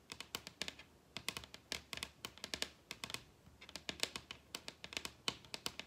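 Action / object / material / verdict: tap / wooden table top / wood / none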